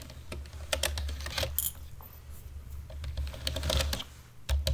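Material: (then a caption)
Plastic. A black plastic computer keyboard is typed on with fingertips and nails as the hands move across the keys. The result is an irregular stream of sharp, bright key clicks and taps over a steady low hum, with a louder cluster of strikes near the end.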